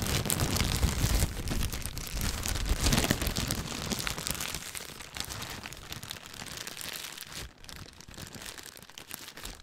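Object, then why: Thin plastic bag. A thin clear plastic bag is crumpled, stretched and rubbed with the fingers, making dense, continuous crinkling and crackling with a bright edge and some low rumble. The crinkling is loudest in the first few seconds, then settles into softer, steadier rustling.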